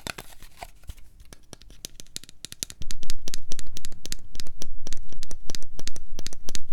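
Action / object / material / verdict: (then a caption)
tap / plastic cosmetic jar / plastic / none. A hand-sized, cream-coloured plastic body lotion jar with a printed cap, apparently filled with product, is held close and tapped and scratched with long painted fingernails. It gives rapid, irregular, bright, dry clicks with soft scratchy rustling between them. The tapping grows noticeably louder and denser after about 3 seconds.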